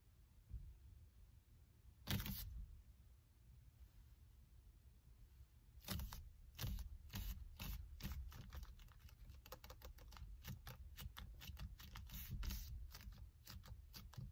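Hands with long nails squeeze and grip the black leather or faux-leather covered rim of a solid car steering wheel. A single sharp crackling squeak around two seconds in is followed by a long, dense run of quick bright creaks and taps from about six seconds on. A low, steady rumble sits underneath throughout.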